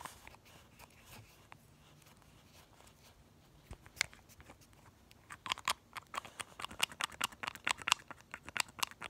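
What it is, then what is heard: Glass nail polish bottle with plastic cap. A small pink glass nail polish bottle, partly full of polish, is held in one hand while the fingertips of the other hand pump its plastic cap, working the brush up and down inside the neck close up. After about four quiet seconds with a faint hiss and a stray tick, a quick, uneven run of sharp, bright, crunchy clicks begins and keeps going to the end, each one dying away almost instantly.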